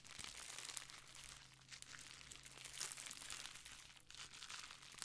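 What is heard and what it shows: Long painted nails and fingertips scratch and rub a sheet of clear plastic bubble wrap, folded into a small pad and held close to the microphone. Dense, bright crinkling and crackling runs continuously, with a faint steady low hum underneath.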